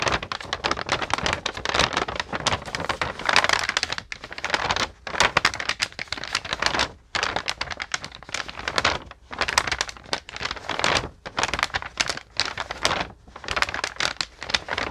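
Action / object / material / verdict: shake / painted paper sheet / paper / none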